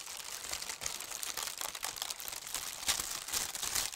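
Fingertips with long red nails smooth and press flat a large, thin, crinkly tissue paper sheet printed with holly leaves and red berries, lying loosely on a table. The result is a steady, bright crinkling with almost no low end, plus a few sharper crackles standing out near the end.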